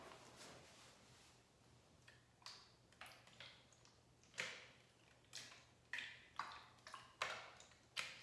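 A translucent purple plastic trigger spray bottle, hollow and partly filled with liquid, is held in the hand and tapped with long acrylic nails on its body and trigger head. The result is a series of bright, crisp plastic ticks and clicks at irregular intervals, each decaying quickly. The taps grow sharper and louder toward the end.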